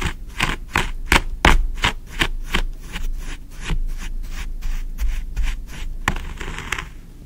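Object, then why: Kinetic sand and a wooden stick. A thin wooden stick is poked and dragged through green kinetic sand in a tray, making a quick, uneven series of short, dry, gritty scratching strokes with a low rumble underneath. The strokes stop sharply with almost no ringing. The last one trails into a softer, brighter hissing drag.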